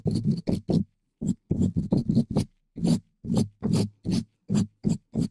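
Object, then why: Metal mesh microphone grille. A green-and-white plastic dish brush, held in a black-gloved hand, scratches and brushes the hollow black metal mesh grille of a large microphone. A fast series of short, raspy bristle strokes comes through with a low, boomy body and a thin bright edge. Each stroke is separated by brief silences.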